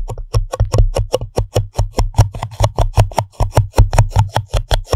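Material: Paper.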